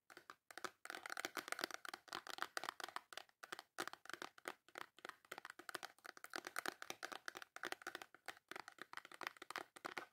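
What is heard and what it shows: Long nails rapidly tap and scratch the front of a full, small white cardboard Dove soap box. The result is a quiet, continuous run of dry, crisp clicks and papery scrapes with no low end, centered in the mids and reaching up brightly. Each tap dies away almost instantly.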